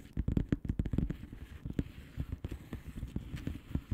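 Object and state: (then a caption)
Plastic bubble wrap mailer. Long painted nails on both hands tap and scratch the bubbles of a blue plastic bubble wrap mailer lying flat. The result is a quiet, rapid run of about seventeen short, dull taps with faint crackly scratching in between. The sound is mostly low and soft, with each tap dying away almost instantly.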